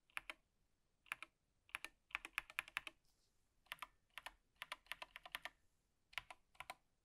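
A gloved hand types with its fingertips on an Apex Pro TKL (2023) wired gaming keyboard, a plastic mechanical keyboard with plastic keycaps, hollow switch housings and a black frame, lying flat on a table with a wrist rest. Quiet, crisp, bright clacks come in quick clusters separated by short pauses. Each keystroke ends almost instantly, with a hollow plastic tone centered around 2.5 kHz and very little low end.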